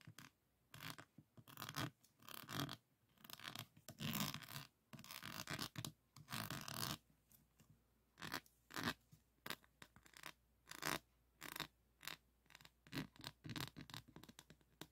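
Fingertips and nails scratch and rub across a small rectangular framed diamond painting of a Provence lavender scene, its surface covered in faceted plastic resin drills. Bursts of dry, bright, broadband scratching come in uneven strokes, some short and some drawn out for a second or more, separated by near-silent pauses.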